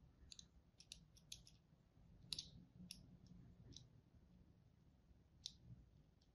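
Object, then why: Bar of soap cut with a wire and fingertip. A pink-and-white striped bar of dry solid soap is held in the hand while a thin wire or thread is drawn across it and a tip held by pink-nailed fingertips scores it, cutting the soap. The cuts make a scattered series of quiet, crisp, bright clicks and scratchy ticks that stop instantly, over a faint low rumble.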